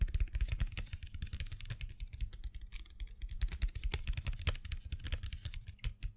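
Fingernails tap rapidly and irregularly on a small printed cardboard box full of colored pencils held in the hand. Each tap is a short, dry click with a dull low thump beneath it and a bright edge on top, and the taps die away almost instantly. The steady stream of taps sounds like typing on a keyboard.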